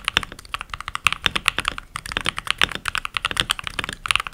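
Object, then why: Mechanical keyboard with plastic keycaps. Fingertips with short nails and rings on the fingers type continuously on a full-size backlit mechanical keyboard with pink plastic keycaps. Around thirty quick, sharp keystrokes sound in an uneven rhythm, each a bright plastic clack centered near 2.6 kHz with almost no low end. Every click cuts off at once with no ring.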